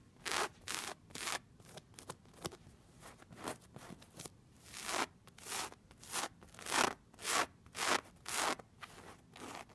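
Long red-painted nails scratch and rub the ribbed fabric on the round end of a dark brown, cylindrical, padded bolster pillow resting on a bed. Quick, dry, bright scratching strokes come in an uneven rhythm of roughly two per second, with soft rustling and rubbing between them and no ring after each stroke.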